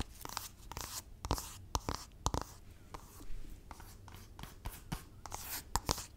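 A thin, hand-sized, flat black rectangular LORAC makeup palette box, likely cardboard, is held in both hands and scratched and tapped with long nails. Quick, dry, sharp taps land among bursts of scratchy, papery rasping with a bright edge. Each sound cuts off almost instantly, leaving a soft, close, low rustle underneath.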